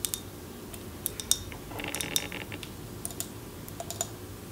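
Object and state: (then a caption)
Glass candle jar. Long nails tap and scratch a tall glass jar candle with a paper label, filled with wax. Sharp, bright clicks ring briefly against the glass, and a softer scratchy rustle rises in the middle as the nails drag across the label.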